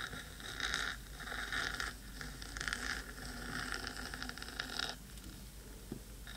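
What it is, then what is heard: Metal microphone body being scratched. Long pointed nails scratch the black metal body of a 3Dio microphone, with a second hand near the rim. Bright, raspy scraping swells in uneven bursts that rise and fade without clear separate hits, then thins to a quiet hiss with a faint low tick near the end.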